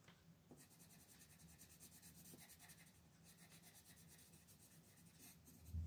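A pink wooden colored pencil is rubbed and scratched in short strokes across a flat printed paper coloring book page lying on a table, coloring a band near the top while a hand with long nails holds the page still. The result is a quiet, steady, bright scratchy rasp of pencil on paper over a low background hum, with a slightly louder scrape at the very end.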